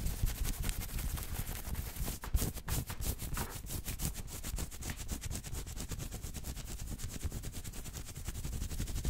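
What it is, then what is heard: Cotton t-shirt being scratched. Fingertips and nails scratch quickly over a maroon cotton t-shirt with a printed logo, worn on the chest. A steady stream of rapid rubbing strokes runs throughout, with heavy low, muffled thumps and a thin, bright scratchy hiss. A couple of slightly louder strokes stand out near the middle.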